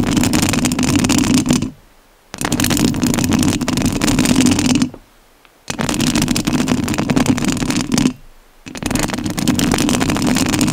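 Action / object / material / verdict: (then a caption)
scrape / metal mesh microphone grille / metal mesh / none. Long nails scratch the metal mesh grille of a rhinestone-covered studio microphone in four sustained bursts separated by short silences. The scratching is a dense, rasping scrape, strongest in the low-mids with a bright, hissy top.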